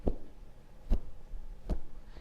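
Cotton quilting fabric is held and given sharp tugs across the crosswise grain, producing three low, dull snaps with little high-frequency content. The dull sound shows this is not the lengthwise grain, where the threads are looser.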